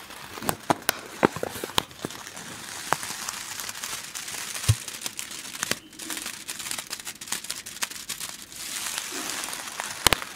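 A small yellow printed plastic snack wrapper is held against a grey microphone windscreen and crinkled and rubbed with fingers. It makes dense, bright crackling and crinkling with frequent sharp snaps over a soft, steady rustling hiss. The clicks stand out close and crisp throughout.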